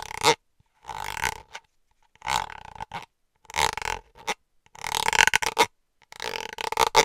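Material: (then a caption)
Plastic. A small white plastic cosmetic cream squeeze tube, held in one hand, is tapped and scratched with long acrylic nails. Short bursts of dry, crinkly scratching and tapping come in separate clusters with brief silences between them. The sound is bright and hollow, with almost no low end.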